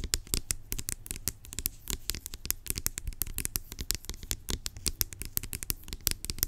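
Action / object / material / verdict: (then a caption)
scrape / plastic pump bottle / plastic / none. Long acrylic nails scratch and tap rapidly on the top of a large, hollow, blue-labelled plastic pump bottle lying on its side. The result is a dense run of sharp, bright clicks over a soft scratching rasp, with each tap dying away almost instantly.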